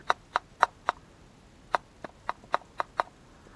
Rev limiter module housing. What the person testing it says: it doesn't Echo as much so there's a lot more stuff going on in here